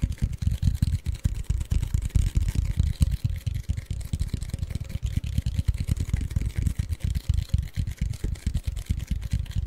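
A tall, hollow cardboard Pringles chip can with a paper label is held in front of the mic and tapped and scratched with short fingertips and nails. The result is a rapid, uneven stream of deep, hollow thumps with quick, dry decays and a faint scratchy rustle above.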